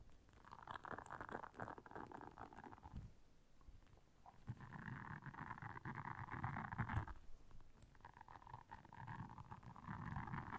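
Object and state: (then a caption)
Silicone scrubber pad. Long nails scratch across the soft bristles of a round, flat, blue solid silicone scrubber pad lying on black fur. The result is a quiet, dense rasping in repeated passes, with a muffled low rumble beneath a papery mid-range scratch that pauses briefly before each new stroke.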